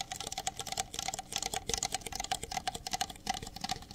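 Fingertips and nails tap rapidly on the outer walls of two identical empty red plastic party cups with white interiors, held in the hands. The result is a quick, dense run of sharp, bright clicks that die away almost instantly, each carrying a faint hollow tone.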